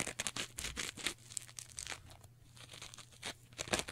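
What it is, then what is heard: Foam sponge being scratched and squeezed. A soft, porous teal textured foam sponge is folded and bent in both hands while long nails and fingertips scratch and squeeze it. Rapid bursts of bright, crackly scratching and crinkling come and go quickly over a faint, steady low hum.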